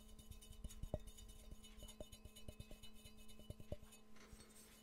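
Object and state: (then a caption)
Ceramic mug tapped with fingernails. Fingernails tap on a hollow, empty yellow ceramic Pikachu mug with ears and a handle, producing a quick, irregular series of light clinks. Each tap gives a short, glassy ring that fades almost at once, heard over a steady low hum.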